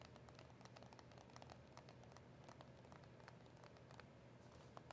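Long acrylic nails tap rapidly on a small, hollow cardboard box of press-on nails with a clear plastic window. The result is a quiet, continuous patter of short, dry clicks with bright tops over a steady low hum.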